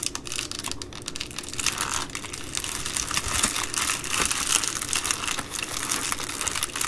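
Hands fold and crinkle the top edge of an empty Amazon Prime poly bubble mailer with their fingertips and long nails. The result is a continuous, dense, bright crinkling of plastic with quick crackles and little low end, swelling slightly louder in the middle and toward the end.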